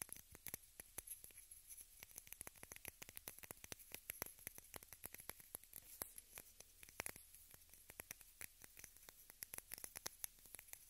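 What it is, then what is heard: Plastic case tapped with fingernails. A small rectangular pink plastic case is held in both hands and tapped and scratched with long red nails. Quick, dry, bright clicks come in a dense, uneven stream with no ring, over a faint, steady high-pitched hiss.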